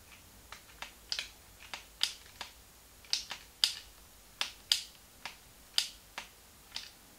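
A small, hollow, translucent pink plastic Game Boy Advance handheld game console is held in both hands while thumbs and fingertips click its plastic buttons. Sharp, bright, dry clicks come at an uneven pace, each dying away almost instantly, with a few quick double clicks in between.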